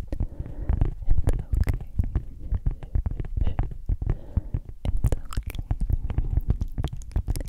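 A round, flat, solid palm-sized cork coaster is scratched and tapped with long acrylic nails. Quick, dull taps and soft scratches follow one another densely and unevenly, each sounding low and muffled with almost no ring.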